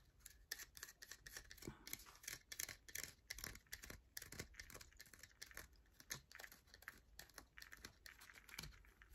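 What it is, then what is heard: Bar of soap being scratched. A solid yellow bar of soap held in the hand is scratched with long acrylic nails that shave off flakes. Quick, dry, bright scratches and taps follow one another rapidly with almost no ring.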